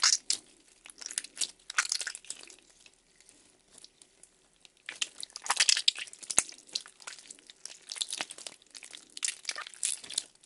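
A handful of translucent purple glitter gel slime from Daiso, solid and soft, is held in both hands as the fingers squeeze, stretch and knead it. This produces bright, crackly squelches in bursts, with a quieter stretch of faint crackles in the middle before the squeezing picks up again.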